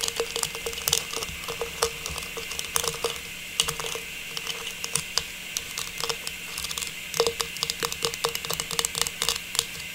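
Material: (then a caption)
Plastic. A small, hollow, faceted silver metallized plastic star tree topper is turned in both hands and tapped with long pink nails. The result is a rapid, irregular stream of light, bright plastic clicks and taps with almost no low end. Each tap dies away almost at once over a faint steady hiss.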